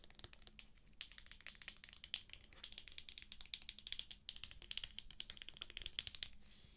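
Long nails tap and scratch the cover and pink edge of a thick, solid paperback book sealed in plastic shrink wrap. A quiet, rapid stream of crisp, dry clicks and scratchy crinkles carries a bright, crackly plastic tone centered around 3.3 kHz. The short, sharp taps die away almost instantly.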